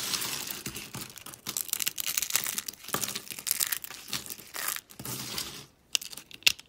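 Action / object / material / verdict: scrape / dry soap flakes / soap / none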